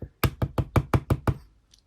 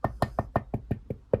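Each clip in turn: First: Seven quick, dull knocks, low and thuddy with no ring, from a replica belt's plastic main plate. Second: Eight quick, evenly spaced taps with a bright clink near 500–700 Hz that dies at once: a small metal plate.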